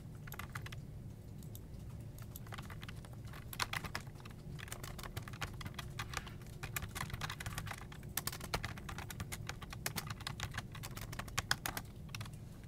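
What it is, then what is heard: Plastic computer keyboard. Fingertips type steadily on a full-size black plastic desktop keyboard with hollow keycaps, producing a rapid, uneven stream of short, bright plastic clicks and taps. A constant low hum sits underneath the brief, dry keystrokes, which stop quickly with almost no ring.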